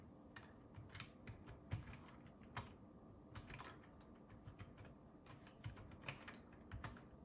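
Fingertips type continuously on a black ergonomic plastic computer keyboard with a hollow plastic housing, resting on a wooden table. Soft, quick, irregular key clicks carry a low, hollow thump and brief bright ticks, over a steady faint low hiss.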